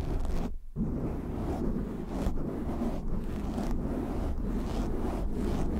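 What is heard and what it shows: Short nails and fingertips scratch a black foam windscreen on a microphone, producing a dense, continuous low rumbling scrape that sits mostly in the bass with a slightly brighter crackle above. The rubbing briefly cuts out near the start, then carries on steadily at an even loudness to the end.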